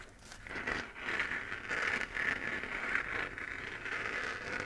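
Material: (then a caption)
Plastic. Fingernails scratch around the edge of a hollow, textured 3D-printed plastic moon lamp, a sphere glowing white. The result is a steady, dry, crinkly scraping with a bright, papery rasp centered near 2 kHz, rising and falling in short strokes with almost no low end.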